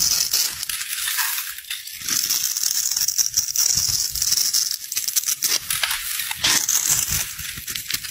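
A metal utility knife blade scrapes and carves the pre-scored end of a solid white rectangular bar of soap held in the hand, breaking it into small crumbling pieces. The sound is a dense, continuous run of bright, crisp scraping and crunching with almost no low end, rising and falling in loudness as the blade works through the soap.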